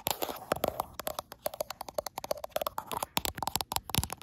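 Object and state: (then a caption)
Glass smartphone back. Long acrylic nails scratch and tap quickly across the frosted glass back of a gold iPhone Pro. The result is a rapid, uneven run of sharp, dry clicks with a bright edge, each dying away almost instantly, over a faint scratchy hiss.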